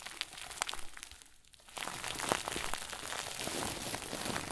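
A round white plastic bag stuffed into a crinkle ball is squeezed and crumpled with both hands, giving dense, bright crackling crinkles. The crinkling softens briefly in the first half, then returns louder and steadier through the end.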